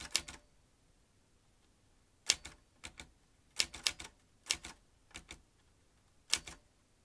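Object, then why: Metal manual typewriter. Fingertips press the round keys of a vintage metal manual typewriter with paper in the carriage. Sharp, bright clacks come in short bursts of two or three, separated by pauses. Each strike dies away almost instantly, with little low-end weight.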